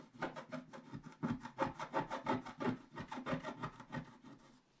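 A wooden stylus scratches the upper right area of a flat, black-coated scratch-art paper sheet while the other hand steadies the page. It makes a quick, fairly steady run of short, dry, raspy strokes, about three per second, that fade slightly toward the end.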